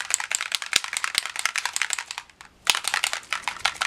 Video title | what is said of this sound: Distress Spray Stain by Tim Holtz | the metallics have a little ball inside. Now you can hear it when I shake it up